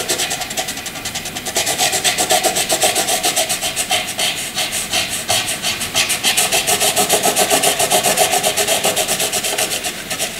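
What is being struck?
Graphite pencil on paper.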